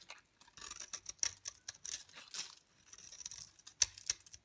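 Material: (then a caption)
Soap. A utility knife blade shaves flakes off the surface and edge of a solid yellow bar of dry soap held in hand. The result is a quick run of crisp, dry scraping and crackling strokes, all bright and high with almost no low end. Each stroke dies away almost at once, and a few sharper snaps stand out near the end.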